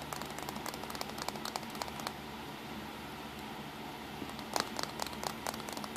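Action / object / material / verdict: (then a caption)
tap / plastic compact camera casing and buttons / plastic / none. Fingertips tap on the casing and buttons of a small black plastic compact digital camera, lying back side up with its buttons and control dial on a towel. Quick, light, dry clicks and taps come in uneven bursts, with a quieter stretch in the middle, over a faint steady low hum.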